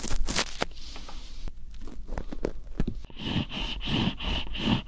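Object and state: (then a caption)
Cucumber rubbed and scratched. A whole, long, fresh green cucumber with solid, bumpy skin is rubbed against a microphone and scratched along its skin with fingertips. Dry, crackly scratching and scraping comes first, then rhythmic rubbing swishes with a low, muffled rumble underneath.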